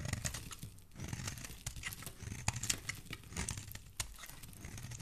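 A metal blade scrapes curled shavings off the edge of a solid pink soap bar held in the hand. The result is a quiet run of dry, crinkly scraping with bright, crisp ticks and short crackles over a soft low rumble, each stroke dying away almost instantly.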